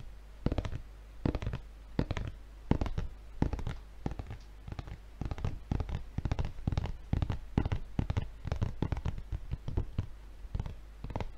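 Fingertips of both hands scratch and tap across the red plastic film wrapping a paper refill pad held in front of the face. Quick, dry crinkling scratches and taps burst out irregularly with bright edges and no ring, over a steady low hum.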